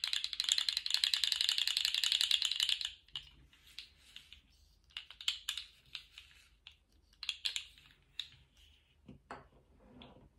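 A small rainbow-striped jointed plastic slug fidget toy is stood upright on a table and compressed and flexed by fingertips, making its segments rattle and click. A dense, bright, rapid rattle of clicks fills the first three seconds. It then gives way to quieter, scattered individual clicks and short rattles as the toy is flexed.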